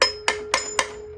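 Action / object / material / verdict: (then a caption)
tap / steel valve and spring assembly in a cylinder head / steel / ringing. Four sharp taps on the steel valve and spring assembly of a rebuilt cylinder head, each giving a bright metallic ring around 1 kHz with a faint steady tone lingering between strikes. The tapping also seats the collets, and the ringing shows the valve assembly is sound.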